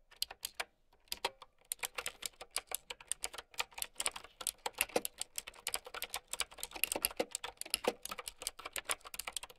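Continuous typing with long nails on a plastic mechanical keyboard with round keycaps. A rapid, steady stream of sharp, bright clicks and clacks, each dying away almost instantly, with almost no low end.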